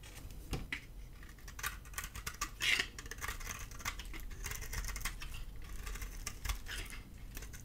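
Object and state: Dry bar soap being carved.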